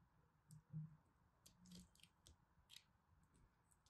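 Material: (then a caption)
Soap. A solid pastel pressed soap-flake ball is held in the hands while a small black knife carves and scrapes into it, exposing dense solid soap on the cut face. Quiet, soft scraping and crisp clicks with bright, high edges sit over a low, muffled body. The cuts come in short bursts separated by brief pauses.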